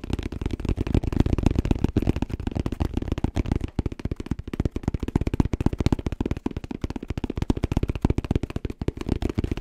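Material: Fabric, plastic.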